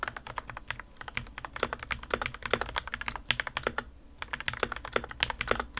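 Two hands type continuously with their fingertips on the plastic keycaps of a modded white plastic RK61 60% mechanical keyboard resting on a desk mat. The result is a steady run of short, dry clacks with a mid-pitched body around 490 Hz and bright click tops, with a brief lull just before the four-second mark.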